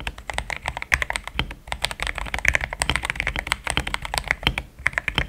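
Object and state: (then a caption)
Mechanical keyboard with plastic keycaps. Fast fingertip typing on a compact pink-cased mechanical keyboard fitted with thick cream XDA plastic keycaps, which sounds solid. The keystrokes form a dense stream of short, sharp clacks with a bright, clicky top end and a slight low thud underneath. Each stroke dies away almost at once.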